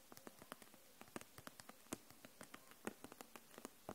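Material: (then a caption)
Plastic. Long nails tap on the barrels of a row of plastic felt-tip markers held upright in a clear plastic package. About two dozen quick, light, dry clicks come at an uneven pace over a quiet background, each with a bright edge and almost no ring.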